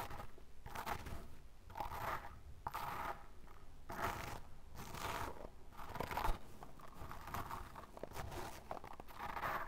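A small brush with a dark bristle tip digs and scratches repeatedly into the same spot on a loose mound of pale fine sand. The result is a steady run of crunchy, gritty scraping strokes that swell and fade about once a second at an uneven pace, with a soft low rumble beneath them.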